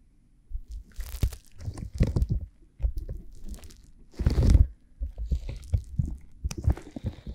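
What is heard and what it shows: Fingertips with long, glittery painted nails touch and rub over the outer ears of a silicone ear microphone: a pair of flesh-colored, solid soft silicone ear models on square silicone blocks, still clean with no slime. Close, muffled low thumps and crunchy scratching come in uneven bursts, with the loudest rub about two-thirds of the way through.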